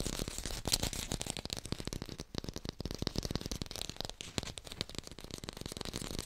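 Fast fingertip tapping on an artificial pear, recorded in hi-fi. A dense, rapid stream of short, dry taps with quick decay, carrying both a low thump and a bright clicky top.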